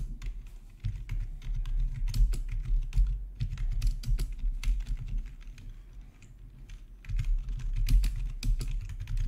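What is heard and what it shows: Fingertips type steadily on a full-size black plastic backlit RGB gaming keyboard with a hollow housing, resting on a marble surface. The rapid key taps have bright clicky edges over a deep, hollow thud. The typing eases into a quieter lull around six seconds, then picks back up.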